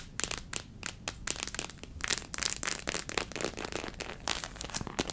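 Long nails tap and scratch the head and torso of a small white hollow plastic human figure model printed with acupuncture points. Quick, dry clicks and crinkly scratches come in a dense run, bright and hollow-sounding, with almost no low end and each one stopping almost at once.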